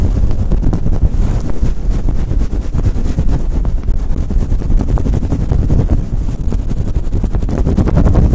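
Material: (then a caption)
Faux fur. Fingers with long nails rapidly rub and scratch a fluffy faux fur windscreen cover on a Blue Yeti microphone. The result is a loud, continuous, muffled rumble, dense with quick scratchy strokes, with nearly all its energy deep in the low end and little brightness.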